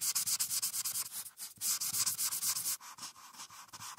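A marker's felt tip, held in the fingertips, rubs vigorously over a printed paper coloring sheet clipped flat and solid to a clipboard, filling in a blue background. Rapid back-and-forth strokes make a bright, dry, scratchy hiss with almost no low end. The strokes ease to a softer, lighter scratching for the last second or so.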